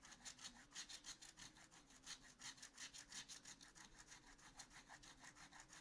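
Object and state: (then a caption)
Scratch art paper being scratched. A wooden stylus scratches back and forth across the pot area of a black-coated scratch art paper sheet in a spiral notebook. About two dozen quick, bright, raspy strokes follow one another at a steady rhythm of roughly three per second, each a short dry scrape with almost no low end.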